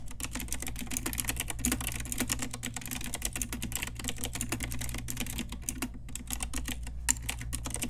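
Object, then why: Plastic mechanical keyboard keys. Fast typing with long nails and fingertips on an Ajazz pink typewriter-style retro mechanical keyboard with round plastic keycaps, heard as a dense run of short, sharp clicky keystrokes with bright tops. A steady low hum sits beneath the clatter throughout, with one louder key strike near the end.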